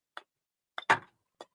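A glass-filled polymer knife grip is tapped four times, giving short, sharp clicks with a brief bright ring. The third tap is the loudest and rings slightly longer. The grip sounds solid and metal-like rather than cheap.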